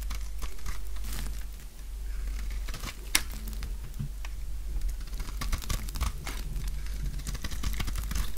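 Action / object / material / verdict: scrape / bar of soap shaved with a knife blade / soap / none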